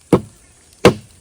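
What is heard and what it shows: Two sharp, dull knocks strike a hollow tree trunk that holds a stingless bee nest, sounding as low, woody thuds about 0.7 seconds apart that die away almost at once. The knocks are meant to jolt the bees inside into buzzing, but no buzzing is heard in this clip.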